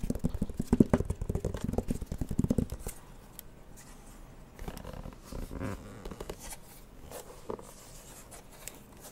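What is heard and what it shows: Fingertips tap and scratch the flat glowing screen of a handheld plastic light-up drawing pad with a white plastic frame, held close to the mic. A rapid burst of dry, low plastic taps fills the first three seconds, then quieter, softer scratches and occasional light taps follow.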